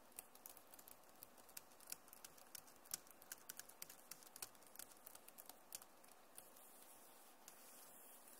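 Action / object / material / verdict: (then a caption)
tap / plastic laptop keyboard keys / plastic / none. Long nails and fingertips type on a backlit plastic laptop keyboard, making a quick, uneven run of light, bright clicks and taps over a steady soft hiss. The clicks stop before the end, leaving only the faint background hiss.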